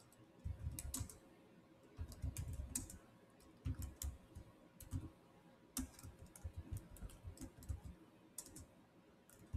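Fingertips of both hands tap rapidly on the black plastic chiclet keys of a Samsung laptop keyboard with a silver body. Soft, dull key taps come in quick bursts separated by short pauses, with most of the weight low and a few bright clicks on top. A faint steady hum sits underneath.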